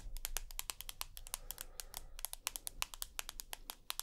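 Long nails tap and scratch a rose gold iPhone with a glass screen and aluminium back as it is turned between its edge, back and front. A quick run of sharp, bright clicky taps dies away almost instantly, with soft scratching and a low rumble underneath.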